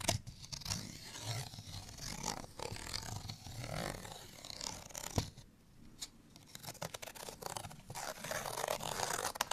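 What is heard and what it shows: A small, thin, flat printed cardstock bottle tag is held in the hand and scratched with fingernails. The result is dry, papery scratching and crackling in irregular bursts with a bright edge and a few sharp ticks. The scratching briefly quiets midway before picking back up.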